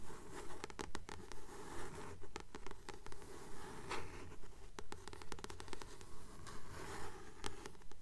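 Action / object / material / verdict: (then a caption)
tap / paperback book with glossy card cover / paper, card / none. Long nails tap and scratch the glossy card cover of a solid blue paperback book held in both hands. The result is a steady, regular rhythm of short, dry taps layered over a continuous bright scratching texture, each tap fading quickly.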